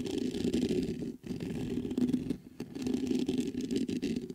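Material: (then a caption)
Metal. Fingertips scratch the grille and tap the body of a black metal USB microphone, making a dense, continuous rasping scratch centered low around 250 Hz with a faint bright hiss above. Two brief dips near 1.2 and 2.5 seconds break the scratching before it resumes.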